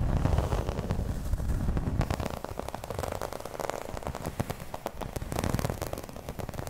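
Long red nails scratch across the textured surface of a flat, round, dark green embossed placemat, probably vinyl. The result is a dense, uneven crackle of quick scraping clicks over a heavy low rumble, loudest in the first two seconds and then continuing slightly softer.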